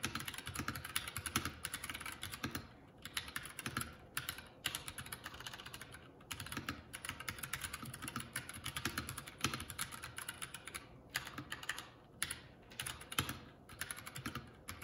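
Fingertips of both hands type continuously on a Keycool K84 75% mechanical keyboard with plastic keycaps, producing a dense stream of quick, bright clicking keystrokes. Brief pauses break up the typing, and each key hit ends almost instantly with no ringing.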